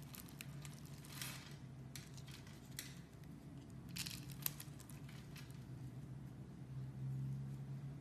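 A utility knife shaves a solid brown rectangular soap bar that has been scored in a grid, and small brown sticks crumble off as it cuts and scrapes. Crisp, bright scraping and crumbling bursts come in irregular bunches over a steady low hum.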